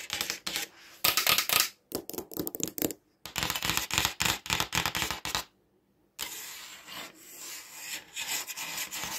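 Fingertips and short nails rub and scratch across the flat, white glossy back of a smartphone with a black camera module, held over a wooden desk. Bright, dry scratching comes in quick, uneven bursts separated by brief silences, then settles into a steadier continuous rub toward the end.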